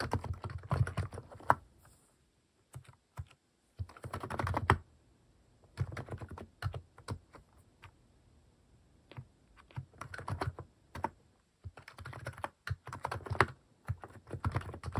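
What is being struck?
Mechanical keyboard with plastic keycaps.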